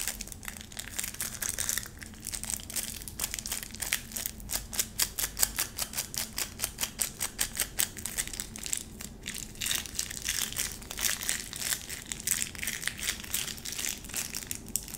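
Long nails scratch and tap the pleated white plastic wrap around a small round bar of soap, crinkling the wrapper edge. A rapid, steady stream of short, dry crinkles and taps fills the clip, mostly bright and high with very little low end. Each sound dies away almost instantly.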